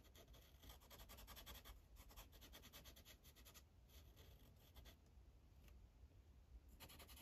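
The felt tip of a blue Sharpie marker rubs across a thin paper coloring page on a clipboard in quick coloring strokes. Soft, dry scratching comes in rapid bursts with a bright, high hiss, over a quiet low hum. The strokes pause briefly and then resume.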